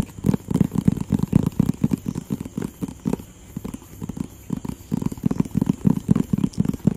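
A hollow, rectangular printed cardboard product box in white and blue is tapped and scratched with fingertips and nails close to the mic. Quick, dull, hollow knocks come in a steady patter with a faint scratchy crackle. The tapping eases into softer, sparser scratches around the middle before picking back up.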